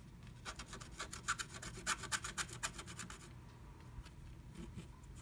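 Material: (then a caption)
Coated paper. A wooden stylus scratches flat black scratch art paper inside a diamond-shaped stencil cut-out with fast strokes, revealing pink colour underneath. The quiet, bright, raspy strokes come in a rapid series for about three seconds, then ease into softer, fainter scratching.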